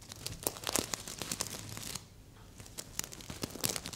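Fingertips and long nails scratch and brush across the red plastic sequins of a medium, soft stuffed heart-shaped pillow. The result is a dense run of bright, crinkly ticks and rustles with many short sharp clicks. There is a quieter lull around the middle before the scratching picks up again.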